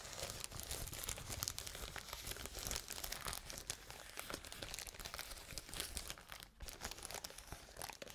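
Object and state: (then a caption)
Plastic bubble wrap. A large sheet of clear plastic bubble wrap is held in front of the microphones and handled and scratched with fingers. It makes a steady, bright crinkling and crackling with many quick, dense clicks, plus a brief drop to near quiet partway through.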